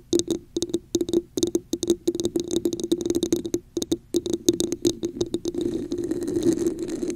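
A hollow red textured plastic cup sits upside down over a microphone while long nails tap the top rim area and scratch its sides. Rapid, crisp taps and scrapes carry a hollow resonance around 340 Hz with bright clicky edges. Toward the end they blur into a steadier, continuous scratching.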